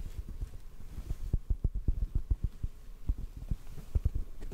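A hollow black foam mic windscreen is held in the hands and tapped with the fingertips in a steady run of soft, muffled thumps. Each tap is a deep, dull low-end bump with almost no ring and no bright edge, like a faint throbbing pulse.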